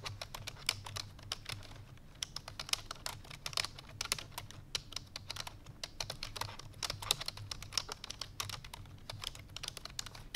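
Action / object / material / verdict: tap / plastic computer keyboard / plastic / none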